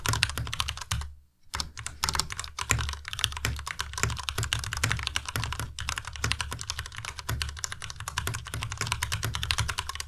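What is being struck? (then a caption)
Plastic mechanical keyboard keys. Fingertips of both hands type fast on a white Ducky Miya Pro tenkeyless mechanical keyboard with plastic keycaps and Cherry MX Red switches. The result is a dense, continuous stream of short clacking keystrokes, each with a low thock and a bright click, broken only by a brief pause around the 1.3-second mark.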